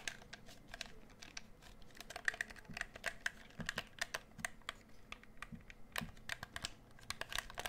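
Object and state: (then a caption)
Plastic game controller. A small, hollow black plastic gamepad, held in both hands below the mic, is tapped quickly by fingertips and nails on its buttons and shell. The result is a rapid, uneven stream of dry, bright clicks and taps with no ring, centred around 1.9 kHz, over a faint low background.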